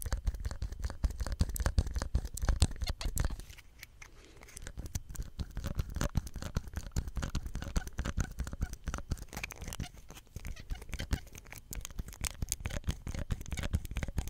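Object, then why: Small plastic soap pump head. Fingertips handle and scratch a small, hollow green plastic soap pump head with a ridged cap, producing dense, rapid scratching and tapping clicks with a strong low thump to each. The short, dry sounds run steadily, easing into a brief quieter stretch near four seconds before picking back up.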